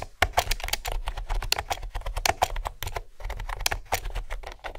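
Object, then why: Plastic round-key computer keyboard. Fingertips with nails type steadily on a hollow mint green plastic keyboard with round keys. The result is a rapid stream of sharp, bright, hollow clicks that stop almost instantly, over a steady low hum.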